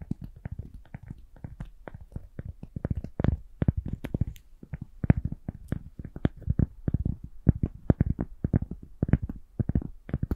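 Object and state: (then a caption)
Cork being tapped. A cork is tapped gently in a steady stream of soft, quick taps. Each tap is a dull, low thud that stops almost at once, with no ringing.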